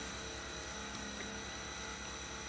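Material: Nothing is struck.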